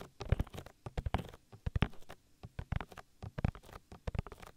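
Oily fingers rub and pat rapidly over the soft silicone ear of a 3Dio binaural microphone, making squishy oil-massage sounds. The close, low, muffled pats and rubs come in a quick, uneven string of dry thuds with no ring.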